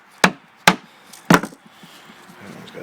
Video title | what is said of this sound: Locust, Does it ever rot? | It sounds like it's hollow, but it's not. You can hear how solid it is still.